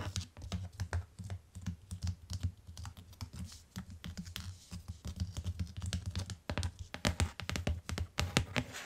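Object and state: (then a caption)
Hardcover book tapped. Fingertips and long nails tap quickly along the bottom edge of a closed tan hardcover book with a cardboard cover, lying on a fur rug. The dense, uneven run of taps gives soft, low, hollow thuds with bright, clicky nail edges. Each tap dies away almost at once.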